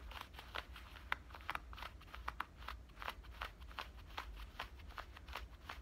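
Fingernails scratch along the front pocket opening and stitched lining of worn black denim cutoff shorts. A quick, uneven series of short, dry, scratchy strokes sounds bright against a steady low rumble underneath.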